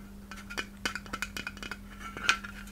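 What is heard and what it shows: A palm-sized white hollow glass Christmas ornament shaped like a takeout box, with red print and a metal cap, is tapped and clicked with long red nails. About a dozen quick, bright glassy clinks come at irregular intervals, each ringing briefly around 1.35 kHz and dying away almost at once. A faint steady low hum sits underneath.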